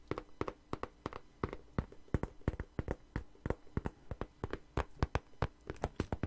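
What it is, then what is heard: Patent leather wallet. Fingernails tap and scratch the surface of a long, hollow red glossy faux patent leather wallet held upright and flat in the hands. About thirty quick, dry taps come in an irregular rhythm, each short and muffled with little ring, over a faint scratching between them.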